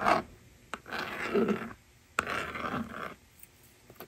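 A yellow plastic stylus writes numbers on the honeycomb screen of a small hollow plastic magnetic drawing board toy resting on a table. Brief taps and clicks are followed by two longer, dry scratching strokes with a raspy midrange texture and light high-pitched hiss. Quiet pauses separate the strokes.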